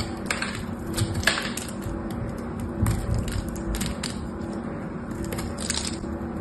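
A metal knife carves a hand-held dry solid soap bar, blue on the outside and lilac inside, into crisp flakes. Repeated short, bright crackling scrapes come in bursts over a steady low hum, and each cut ends quickly with little ring.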